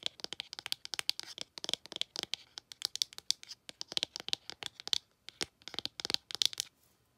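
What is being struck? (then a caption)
Cardboard eyeshadow palette case. Long acrylic nails tap and scratch on an open peach ColourPop eyeshadow palette, a cardboard case holding nine pressed powder pans. Quick, bright, dry clicks and scrapes come in rapid clusters with almost no ring or low end. They pause briefly near the five-second mark and fade out after about six and a half seconds.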